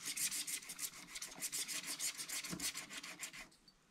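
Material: Waxed paper.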